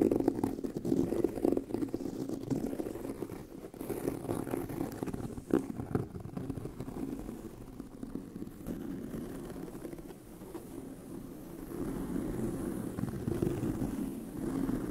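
Fingernails scratch a tan pebbled leather handbag, and the hollow bag body resonates as they move. The result is a continuous dry, gritty scraping with a low, hollow tone centered in the low mids, holding steady over fifteen seconds with small swells.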